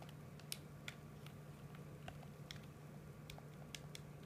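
Thumbs and fingertips press and tap the buttons and sticks of a hollow, hard plastic PS4 controller held in both hands. The result is a scattered series of quiet, short, bright clicks and ticks. A steady low hum runs underneath.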